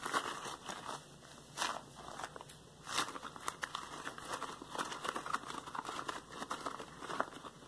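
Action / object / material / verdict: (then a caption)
scrape / latex rubber gloves / latex rubber / none. A pair of yellow textured latex household gloves worn on both hands, with the gloved fingertips rubbed and squeezed together. The result is a steady run of squeaky rubbing and crinkling with brief bright crackles and small swells, the squeak centered around 1.4 kHz with almost no low end.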